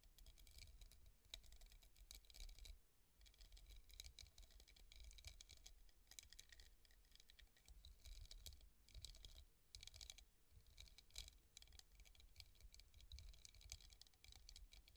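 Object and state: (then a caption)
Hobnail glass vase. Long nails rapidly tap and lightly scratch the raised bumps of a clear, hollow, empty hobnail glass vase resting on a table. The result is a steady patter of quick, bright clicks and ticks that die away almost instantly, with faint scratchy textures over a soft low rumble.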